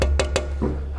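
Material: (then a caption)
Aluminium. Fingernail flicks on the aluminium mudguard of a Bergamont E-Revox Pro EQ trekking e-bike give four short, dry metallic taps with a wood-block-like tone over a low hum. The taps show the mudguard is solid metal rather than plastic, with nothing wobbling or rattling.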